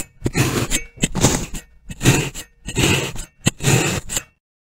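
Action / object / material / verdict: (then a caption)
scrape / kinetic sand block / kinetic sand / none. A metal fork's tines are pressed and stabbed in repeated rows into the top of a solid, hand-sized molded brick of pink kinetic sand resting on a white surface. Five separate bursts of crunchy, scratchy puncturing sound are heard, each with sharp crackles and a bright hiss over a low thud. Silence follows the last burst.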